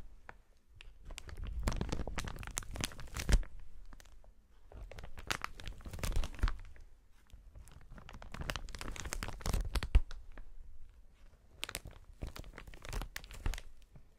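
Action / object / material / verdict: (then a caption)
scrape / inflated plastic air-pillow packaging / plastic film / none. A strip of clear inflated plastic air-pillow packaging with hollow air-filled cells is held upright and squeezed and kneaded by hands in fingerless gloves. It gives off bursts of dense crinkling and crunching, with a deep rumble as the cells are pressed. Quieter pauses fall between the squeezes.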